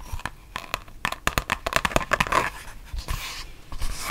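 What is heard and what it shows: A thin, flexible, solid printed mouse pad with a rubber back and fabric top is bent into a curve and tapped and scratched with long painted nails. Dry, clicky taps with a hollow mid-range tone come in a quick, uneven run and die away almost instantly. Softer, hissy scratching strokes follow toward the end.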